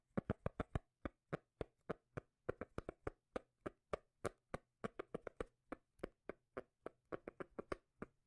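A cork lid is tapped over and over in an uneven rhythm, giving 36 short, dry, low bass taps. Each tap is a quick thump that dies away almost at once, with a soft low hum underneath.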